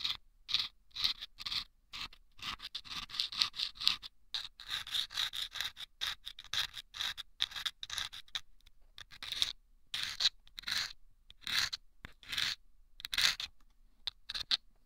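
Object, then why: Paper tube lined with sandpaper, scratched by a bamboo pick. A bamboo ear pick scratches inside a small, hollow, taped paper tube lined with sandpaper, held against the right ear of a microphone. It makes a rapid series of short, dry, gritty scraping strokes, bright and hissy with almost no low end. Each stroke stops abruptly, leaving brief silent gaps.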